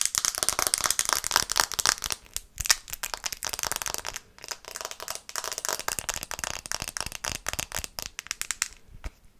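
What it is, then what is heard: Smartphone glass screen tapped. Long red-painted nails tap quickly on the glass screen of a small, flat, solid black smartphone held in both hands. The result is a dense stream of sharp, dry, bright clicks with almost no low end, each dying away instantly. Brief pauses break the stream at about 2 and 4 seconds.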